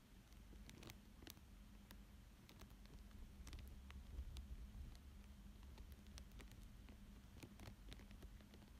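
A thin dark pointed stick traces and scratches across a thin clear plastic sheet laid over a coloured paper drawing. Soft crinkles and scattered, irregular bright scratchy ticks sit over a steady low hum, all at a quiet, even level.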